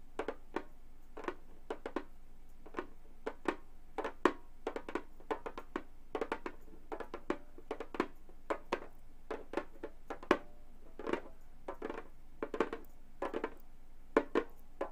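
Long gold metal claw tips tap rhythmically on the synthetic skin head of a hollow frame drum. The taps are short, dry thuds with a bright clicky edge and a low-mid body, each fading almost at once. They come in an irregular, steady stream of quick single and double strikes.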